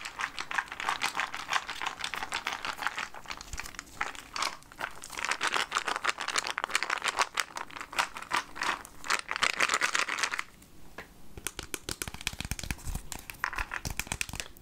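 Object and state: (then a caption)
Plastic jar of peanuts. A clear plastic jar full of peanuts, held in the hand, is tapped with fingernails and shaken so the peanuts rattle inside. Dense, bright clicking and rattling runs throughout, with a brief quieter stretch near the end before the tapping picks up again.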